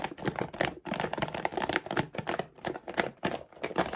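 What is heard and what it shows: Long decorated nails and fingertips quickly scratch and tap the front of a large, full 7.5 kg Royal Canin dog food bag made of laminated plastic, lying flat on a wooden table. The result is a dense run of dry, crinkly scrapes and soft taps in short bursts, with little low end, a midrange focus and a bright hiss on top.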